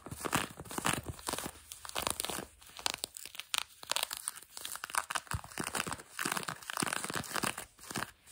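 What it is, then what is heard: Denim jeans fabric being scratched. Long fingernails on both hands scratch light blue denim jeans stretched over a knee. The result is a steady run of dry, rasping scratch strokes that swell and fade in quick bursts. The sound is bright and papery, with little low end.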